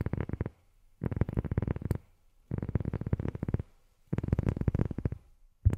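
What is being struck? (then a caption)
Rubber sheet tapped with fingernails. A rubber sheet is tapped with long fingernails in four quick bursts of rapid tapping, separated by short pauses, with one more tap at the very end. The taps sound soft, dull and low, with almost no bright edge, and each one stops almost instantly.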